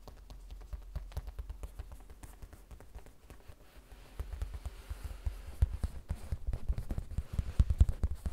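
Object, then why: Vinyl zip pouch. A small, flat, hollow pencil-case pouch of printed vinyl with a colourful cartoon print and a beaded zipper charm is held upright on a wooden table and tapped with long red nails. The rapid, soft taps make dull, low thuds that die away almost at once. They grow louder and denser in the second half.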